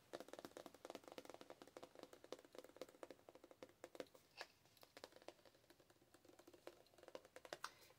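Long acrylic nails tap and scratch a full, hand-sized soft plastic squeeze tube of Cake heavy cream shower wash held in the hand. A quiet, rapid stream of sharp, dry clicks with a hollow plastic tone is mixed with brief scratchy swipes, and each tap dies away almost instantly.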